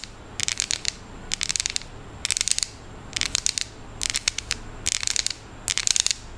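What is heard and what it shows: Long nails scratch and tap along the ridged squares of a solid, unwrapped chocolate bar held at an angle. The sound comes in seven quick bursts of rapid, bright clicking, with a faint low hum in the quiet gaps between them.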